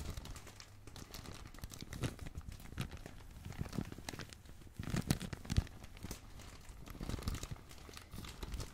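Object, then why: Bundle of thin plastic film. A fist-sized crumpled bundle of thin blue, red and black plastic bag film is crinkled and pressed with the fingertips of both hands. The result is a continuous run of soft, dense crackling and rustling with many quick snaps. It swells into louder bursts around the middle and again near the end.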